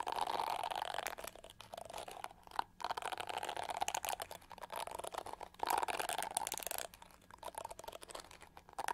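Long gold-painted nails tap and scratch the pyramid-studded back of a hand-sized, hollow-shelled, pink-to-gold metallic plastic hair brush held in one hand. Dense, crackly scratching with a bright, gritty texture and a hollow mid-range tone swells in louder bursts near the start and around the middle, with a sharp tap standing out briefly between them. Quieter, sparser clicking fills the gaps.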